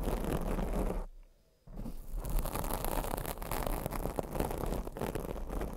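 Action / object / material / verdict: scrape / foam microphone windscreen / foam / none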